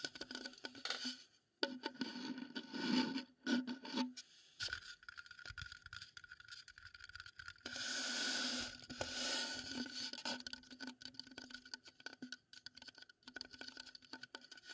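A wooden bowl is tapped and scraped up close, giving a rapid, irregular stream of light wooden taps and dry scratching with a bright, airy hiss. A steady high tone runs underneath. A louder, brighter rushing scrape swells in the middle before the quick tapping resumes.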